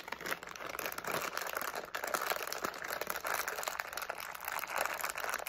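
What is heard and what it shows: A medium, flexible plastic SweeTARTS candy pouch with candies inside is held in the hands while the fingertips crinkle, squeeze and shake it. The result is a steady, dense stream of crisp crinkling and crackling, centered in the mid range with bright, high edges and almost no low end.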